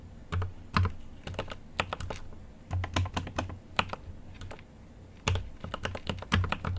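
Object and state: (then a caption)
Mechanical keyboard with plastic keycaps. A GMMK Pro mechanical keyboard with an aluminum case and plastic keycaps is typed on with the fingertips, giving a continuous run of quick, irregular taps. Each keystroke is a short, crisp click over a deeper, thocky low body, dying away almost at once, with brief pauses between bursts.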